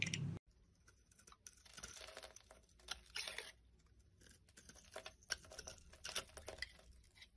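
A black blade scrapes crumbly shavings off the ribbed, stamped face and edges of a solid rectangular yellow bar of soap held in the hand. After a brief loud opening burst, the clip becomes a quiet run of dry, crisp, bright scratching and crunchy scraping strokes.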